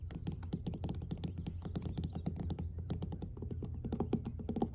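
Long blue nails rapidly tap and scratch solid, weathered wooden dock planks. Dense, quick clicks come over a steady low, hollow thump, each tap dying almost instantly. The result is a soft, quiet, continuous patter.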